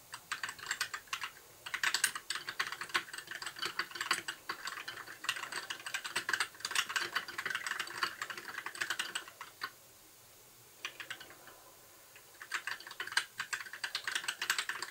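A compact white 60% mechanical keyboard with plastic keycaps and RGB backlight is typed on continuously with the fingertips of both hands. Rapid, bright, clacky key presses come in bursts, with short clicks that die away almost instantly. There are brief pauses around the 10 and 12 second marks before the typing resumes.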